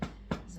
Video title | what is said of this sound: School Project with My Grandson, Biscochitos, Thick Chile w/Ground Lamb & Pueblo Bread | the bread should sound hollow and this sounds Hollow